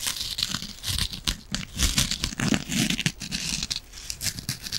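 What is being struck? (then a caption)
Foam kitchen sponge with scouring pad. A small rectangular kitchen sponge, a soft, porous yellow foam body with a green abrasive scouring layer, is held in both hands close to the mic and scratched and squeezed with long nails. The result is a dense run of bright, crackly scratching and crinkling, broken by soft low squeezing thumps that swell and fade. It continues without a pause.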